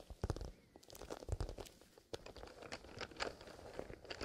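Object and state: Leather pencil case, scratched.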